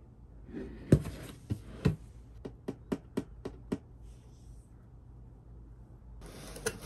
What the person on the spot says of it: 나무 소리 좋아서 괜히 자꾸 두드려보게 됨